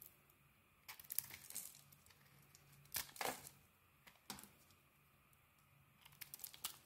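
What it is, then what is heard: Bar soap being shaved. A small metal blade shaves thin curls from a solid bar of soap held in the hand, the bar green-rimmed with a pale translucent core. Quiet, dry, crinkly scraping bursts come in irregular clusters, bright and papery with a faint steady low hum underneath.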